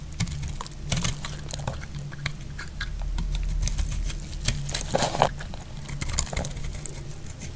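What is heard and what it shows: A metal utility blade carves a solid, dry pink soap bar held in the hand into flakes. Quick, crisp scraping clicks and crackles come in dense bursts with bright edges over a steady low hum.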